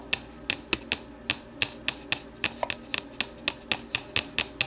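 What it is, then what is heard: Plastic deli container tapped with nails. Long nails tap and scratch the base and side of an empty, hollow, translucent plastic deli container lying on its side on a table. About 19 sharp, dry, bright clicks ring near 2.6 kHz and die out almost instantly, with faint scratching between them.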